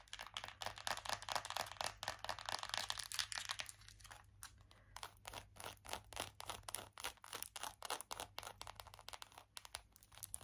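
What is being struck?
Small round plastic compact.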